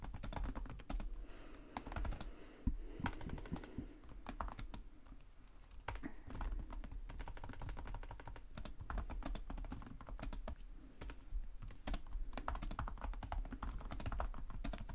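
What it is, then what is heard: Plastic laptop keyboard being typed on. Fingertips with short nails type continuously on the plastic chiclet keyboard of a black laptop resting on a desk. The result is a steady stream of rapid, short key taps with a soft, low thud beneath sharp clicks, and each tap dies away almost at once.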